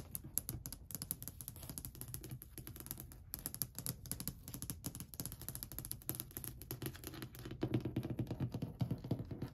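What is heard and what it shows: Long white fingernails rapidly tap and scratch across a long, flat, solid varnished wooden ledge. The result is a dense run of short, dry clicks with a low, woody body and a faint bright scratching edge. The tapping grows louder and fuller for the last couple of seconds.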